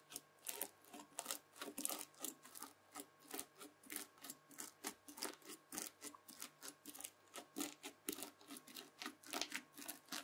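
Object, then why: Bead-filled floam slime scraped with a plastic fork. A white plastic fork drags and scratches over folded red bead-filled floam slime. It makes a rapid, steady series of short, bright, crunchy scratches, with each stroke cutting off almost instantly. The strokes repeat evenly throughout and sit over a faint steady hum.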